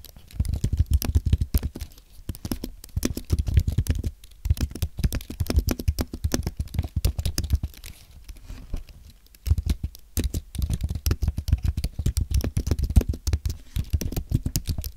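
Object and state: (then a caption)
Aluminum and plastic keyboard being typed on. A white Apple Magic Keyboard, with plastic keys on a thin aluminum base, is typed on quickly with the fingertips of both hands. It makes a dense, soft patter of short, dull, low clicks that die away almost instantly. The typing comes in bursts, with brief pauses near 4 seconds and around 8 to 9 seconds.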